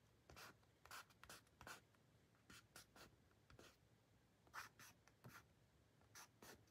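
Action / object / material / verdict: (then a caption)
scrape / card-stock paper booklet cover / card stock / none. Fingertips and short nails rub and scratch across the print on a thin, flat white card-stock booklet cover labeled "THE ALBUM," held in the hand. The result is a quiet series of short, dry scratching strokes with bright, airy hiss, each fading almost at once.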